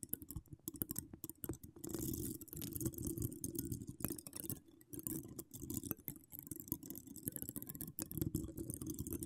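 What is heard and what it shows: Long acrylic nails decorated with donut charms and wire spirals scratch all over the hollow metal wire-mesh grille of a large condenser microphone. Dense, quick scratches and dry clicks come through mostly as a heavy, low rumbling rasp. Sustained bursts of scraping add a bright, hissy edge before trailing back into scattered taps.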